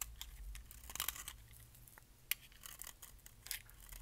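A metal blade scrapes flakes off the surface of a solid orange bar of dry soap onto a pile of shavings. Quiet, bright, crisp scratching and rasping strokes run throughout over a low steady hum, with one sharper click partway through.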